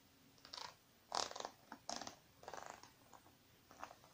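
Long painted nails tap on the surface of a small silver metallic faux-leather zippered makeup bag, which is closed, soft and partly filled, and lies on a wooden table. The result is a quiet series of crisp, crinkly, uneven taps and scratches in short clusters, bright in the mids and highs, with no low thump and almost no ring.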